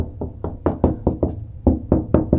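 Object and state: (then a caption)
Hollow wall panel. Knuckles knock about ten times on the panel or wall at the new mixer's location, where a hole is planned to run cables. Each knock is a short, low, dull thud with little ring. The panel sounds hollow.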